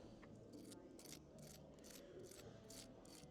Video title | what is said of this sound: Reviewing a FULL IRISH BREAKFAST but there is SOMETHING MISSING !!! - O'Neills Irish Pub, Leeds | you guys can hopefully see how crispy these are